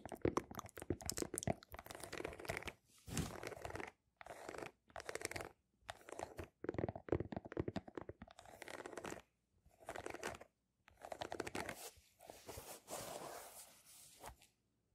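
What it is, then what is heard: Rubber sneaker sole. Long nails scratch the ridged pattern of a single sneaker's rubber outsole, which faces the microphones. Bursts of dry, crunchy scraping come and go with short silences between them, broadband with a low rumble beneath.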